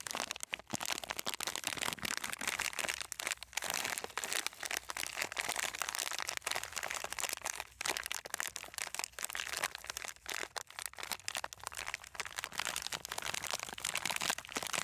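A long, sealed plastic-film snack package with a red and purple wrapper, full of crunchy coated peanuts, is held in both hands and squeezed and rubbed with the fingertips. It makes a continuous, dense stream of bright crinkling and crunching with almost no low end, with short sharp crackles riding on top throughout.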